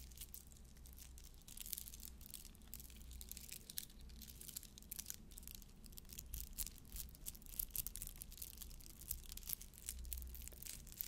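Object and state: Pearl necklace.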